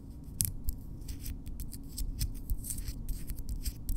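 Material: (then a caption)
Keratin. Long natural keratin fingernails of both hands are scratched and tapped nail-on-nail against each other up close, making a run of quick, dry clicks and scrapes. Each click is bright and crisp, stops almost at once, and sits over a low, steady rumble.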